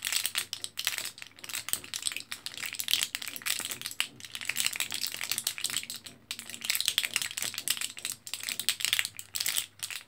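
An orange foil-backed plastic blister card of capsules is held in both hands while fingertips press and crinkle it. The result is a dense, bright crackle of rapid, crisp clicks and rustles with almost no low end. Two slightly quieter pauses break the sound, near 4 seconds and 6 seconds.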